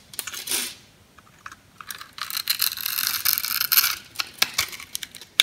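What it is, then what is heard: Bar soap being scored with a knife. A metal knife blade scores and scrapes the surface of a solid pink oval soap bar held in the hand, cutting it into a fine grid. Bright, dry scratching and crisp little clicks come in uneven bursts, with a sharp snap near the end and no low rumble.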